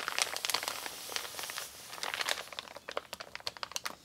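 Fingertips and long pink nails rub and scratch across a flat, empty, wrinkled brown kraft paper Amazon mailer bag resting on a wooden table. The result is dry, bright crinkling with rapid scratchy ticks, a steady rustle in the first half giving way to sharper separate scrapes toward the end. There is no low end and each tick stops almost at once.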